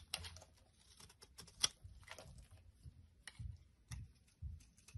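A metal blade scrapes and chips flakes off a solid, rectangular, palm-sized blue bar of soap held in the hand over a wooden surface. Quiet, crisp, bright scraping and clicking come in short bursts with one sharper snap, over soft, low, dull bumps.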